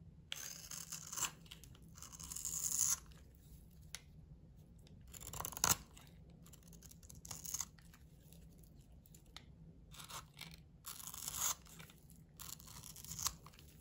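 A solid blue oval bar of soap held in the hand is carved with a metal utility knife blade, flaking off chunky shavings. Bright, dry scraping and crunching comes in uneven bursts, some building to a sharp crack, over a faint steady low hum.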